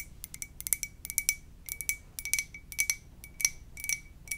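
A white ceramic mug printed with "muah!" is tapped gently in a quick, uneven series of light taps. Each tap is a short, bright click with a thin high ring near 2.3 kHz that dies away almost at once, with almost no low end.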